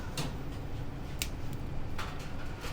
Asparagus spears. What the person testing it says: Senti come scrocchiano. Quando se piegano e non se spezzano, vatti arrabbiia' con chi t'ha avvenuti che t' ha dato una roba vecchia.